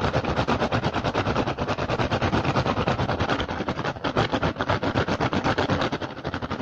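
Fingertips rapidly scratch and tap the surface of a hollow woven rattan basket with a pink and green weave. The result is a fast, continuous stream of dry, crackly taps and scratchy rasps with a steady rhythm, carrying a low hollow body and bright upper texture throughout.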